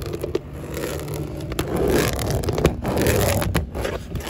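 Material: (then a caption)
Vinyl plastic. Long acrylic nails scratch and scrape along grey textured vinyl siding, the thin hollow plastic panels on an outside wall. The result is a continuous, uneven rasping texture, heavy in the low end, with a few sharper clicks and brief pauses between strokes.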